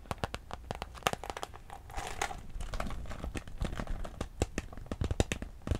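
Long pink acrylic nails scratch and crinkle the surface of a small, clear, iridescent holographic PVC handbag with a gold chain, hollow and empty, held close. A rapid, irregular run of sharp plastic crinkles, taps and scratchy clicks is heard, with a denser, brighter crinkling swell near the middle. Each snap is crisp and dies away almost instantly.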